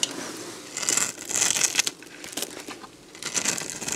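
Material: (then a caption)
Soap. A box-cutter blade carves and scrapes crunchy flakes off a solid, dried beige bar of soap held in the hand. The result is bright, dry crackling and scraping in uneven bursts, with louder stretches near the middle and end.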